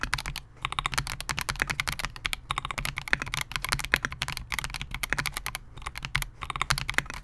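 Both hands type continuously on a Melgeek MOJO68, a compact 68-key mechanical keyboard with Gateron G Silver Pro switches, a clear translucent polycarbonate case and SA-profile plastic keycaps, resting on a desk mat. The result is a dense run of short, bright, clacky key presses with very little ring, broken by a few brief pauses.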